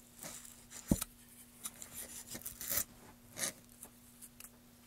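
Gloved hands work a metal gouge across a solid, light wooden plank, carving and scraping its surface. Short, bright scraping strokes come in uneven bursts, with one sharp knock near the start, over a steady low hum in a quiet background.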